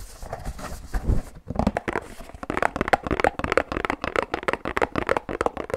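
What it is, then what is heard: Paperboard drink carton. Rapid tapping and knocking with fingertips, knuckles and a loose fist on a hand-sized, hollow Pilkul paperboard drink carton held in both hands. The first second is a soft, crinkly rustle, followed by a brief pause. Then comes a fast stream of dry, hollow, mid-pitched knocks, around 500 Hz with very little ring.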